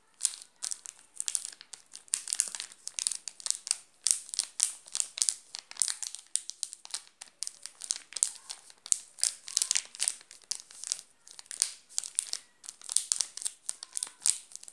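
A flat hand rubs and presses a full, sealed Garoto chocolate bar in a shiny yellow plastic wrapper. The result is a steady run of bright, crisp crinkling bursts with no low end, and each crackle snaps off instantly.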